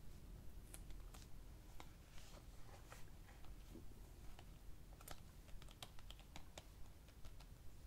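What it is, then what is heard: Plastic DVD case. Several fingertips tap on the front and back of a clear, hollow plastic DVD keep case for the film "Frances Ha," held in both hands. The result is a quick, irregular series of short, dry, bright clicks with almost no ring, over a steady low rumble.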